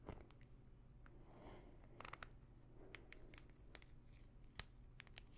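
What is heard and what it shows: Long nails scratch and tap on a small clear plastic pill bottle full of pills with a paper label. Quiet, soft scratching runs under a low steady hum, broken by sharp, bright clicks of the taps that die away almost instantly.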